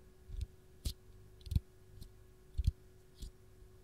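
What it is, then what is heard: Lemon peel tapped with fingernails. Long gold nails tap and scratch the dimpled peel of a single whole, raw fresh lemon held in the hand. Six soft, irregular taps are heard, each a dull low thud with a brief bright click that dies away almost instantly. A faint steady hum sits underneath.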